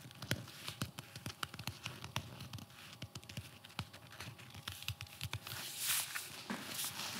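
A blue, fabric-covered flexible body armor plate (FRAS), about torso size and solid, is held in the hands and slapped and tapped on its nylon fabric surface with the palm and fingertips. The result is a quick, irregular stream of short, dry, muffled pats with bright fabric clicks and almost no ring. Toward the end it thickens into a louder, denser, hissy rustle.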